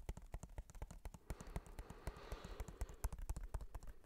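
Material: Plastic.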